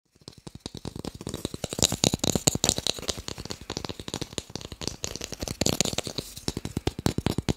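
A small, solid, pale wooden cube, about palm-sized and held in one hand, is tapped quickly with fingertips and short nails close to the microphone. Around forty short, dry clicks and knocks follow one another in a rapid, uneven rhythm, each dying away almost instantly with a bright, crisp edge.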